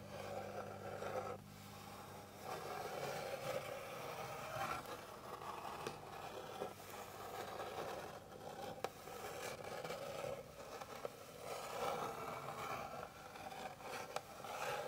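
Long pink fingernails scratch along the grain of a flat, light, solid wooden board, making soft, continuous scraping strokes that swell and fade with a few sharp clicks between them. A faint steady low hum sits underneath during the first couple of seconds.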